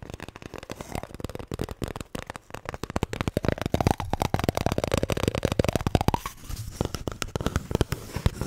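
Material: Paper.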